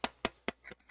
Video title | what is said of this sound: Red Dot Forum Camera Talk: Leica Vario-Elmarit-SL 24-70mm f/2.8 ASPH | the lens sounds hollow when you tap on it with your finger